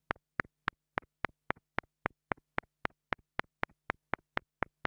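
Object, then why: Plastic mini lavalier microphone. A small black plastic mini lavalier microphone, held in the fingers, is tapped and scratched with a wooden stick. Nineteen sharp, dry taps land at a steady pace, each followed by a softer small tick, with a faint low hum underneath.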